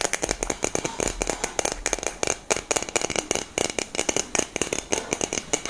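A hollow black cylindrical metal aerosol deodorant can with a grey cap is held in both hands and tapped and scratched with long nails. About 31 quick, dry taps click out in uneven bursts, each dying almost instantly, with a bright, hissy scratching between them. The sound is thin and tinny, with a mid-range ring and almost no low end.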